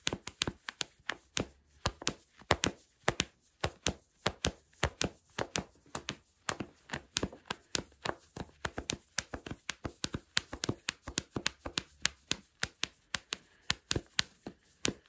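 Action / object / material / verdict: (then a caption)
tap / cotton fleece sweatpants fabric / cotton fleece / none. Fingertips and knuckles scratch and tap the soft fabric of worn black cotton fleece sweatpants, just below the ribbed elastic waistband. About 57 quick, dry taps and scratches come in a steady, uneven rhythm, each a bright, crisp burst that stops almost at once with little low end.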